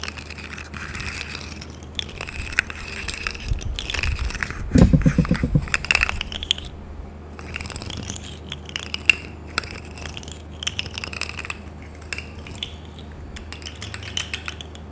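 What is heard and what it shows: A hand-length, hollow, corrugated rainbow plastic pop tube toy is held and stretched by hand, its ridges clicking and crackling as it extends. Dense, irregular bright crackles run throughout over a steady low hum, with a louder stretch around the five-second mark.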